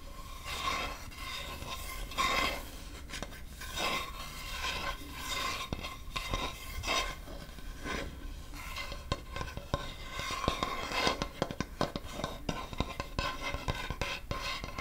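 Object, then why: Wooden chopping board. Fingernails scratch along the top edge and face of a large solid acacia wood chopping board, making a dry, rasping scrape. Bright, broadband strokes come in waves, with a steady hum near 1 kHz underneath. Toward the end, quicker, sharper scratches cluster together.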